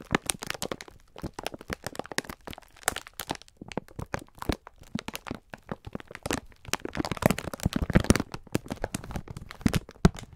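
Both hands squeeze and rub a full pack of green sponge scourers wrapped in clear plastic film with the fingertips, crinkling the wrap. A dense, irregular stream of sharp crackles and crunchy crinkles sounds with short dry snaps and soft low muffled pressing underneath. It grows busier and louder toward the end.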